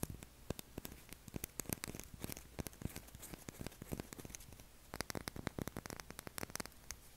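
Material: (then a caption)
Soap. A pale blue, solid oval bar of soap is held in both hands and scratched along its face and edge with short fingernails. The result is a quiet, rapid series of short, dry scratching clicks with no lingering ring, and the scratching turns brighter and busier in the last couple of seconds.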